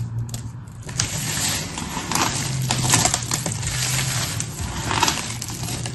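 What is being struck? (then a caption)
Pile of soap shavings. Two palms push together a pile of crumbly, solid blue, pink and white soap shavings while fingers with long red nails squeeze and crush the pieces. A dense, continuous crackling and crunching fills the clip with bright, gritty texture and a low steady hum beneath, swelling around the firmer squeezes.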